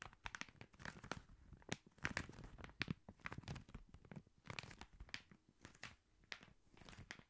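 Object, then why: Paper-wrapped cardboard tube. Fingertips scratch and tap along a long cylinder wrapped in red Christmas paper, likely a hollow cardboard tube, held tilted close by. Quiet, dry papery crinkles and scratchy rustles mix with sharp, bright little taps that stop at once with no ring.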